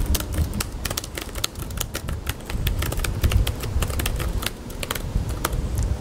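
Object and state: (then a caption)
Plastic laptop keyboard being typed on. Fingertips type on the white plastic keyboard of a small laptop resting on a green metal mesh picnic table in an outdoor pavilion. Quick, crisp, bright key clicks come in an uneven, steady flurry over a constant low rumble of background noise.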